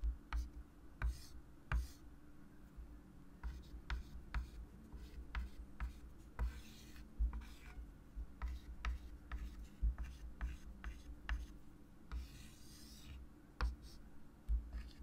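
A white chalk stick held in the fingers draws lines and circles on a small, solid, wood-framed flat chalkboard, scratching across the board. Sharp, bright chalk taps and strokes come in irregular bursts, with longer hissy scrapes, over a steady low hum.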